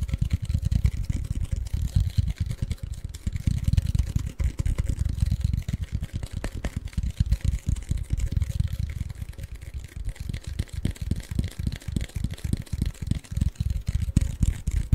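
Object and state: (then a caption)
Cardboard chip can, tapped. A tall, hollow Pringles can with a cardboard tube and paper label is tapped and scratched with fingertips, held close to the mic. Rapid, dense, low, hollow thumps with dry scratching run continuously, each tap short and dead with almost no ring.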